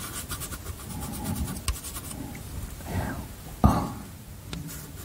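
White chalk scratches and scrapes across the surface of a small wooden-framed chalkboard held up beside a microphone as the words "Hi Thanks" are written on it. A steady, low, gritty rasp carries the strokes, broken by a few sharper clicks, with the loudest one about two-thirds of the way through.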